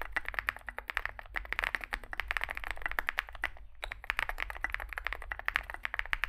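Two hands type with their fingertips on a Zoom65 65% mechanical keyboard with a solid metal case and grey and white SA-profile plastic keycaps, resting on a desk mat. A fast, steady stream of short, crisp key clacks centers around 1.7 kHz with bright edges, over a faint low hum. There is one brief pause a little before the four-second mark.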